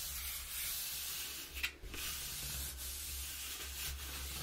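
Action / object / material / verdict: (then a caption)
scrape / corrugated cardboard box / cardboard / none. Long nails and fingertips rub and scratch the inside of an open, empty, hollow corrugated cardboard box with a square cutout. A steady, hissy scraping rasp runs throughout, mostly in the high frequencies over a faint low hum. A single sharp tick near the middle is followed by a brief quieter gap.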